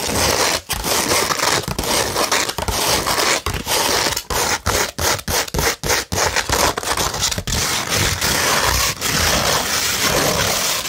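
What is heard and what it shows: A curved beige 100-grit sandpaper sheet is scratched with fingernails and fingertips, giving a dense, bright, gritty rasp. Continuous scraping strokes are broken by brief pauses, most often in the middle stretch, and the sound is strongest in the high register with little low end.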